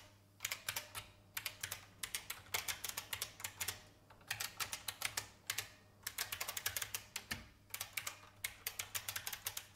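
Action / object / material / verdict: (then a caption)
tap / plastic mechanical keyboard / plastic / none. A vintage beige IBM mechanical keyboard with plastic keys is typed on with the fingertips, giving bursts of sharp, bright clicks in quick runs with short pauses between them. Each keystroke is crisp with almost no ring, over a faint low hum. The hands come to rest on the keys at the end.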